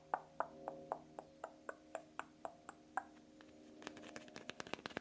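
A green fluorite crystal is tapped, giving a steady run of about a dozen bright, pinging taps with a faint lingering ring. These are followed by a quicker flurry of lighter, softer taps.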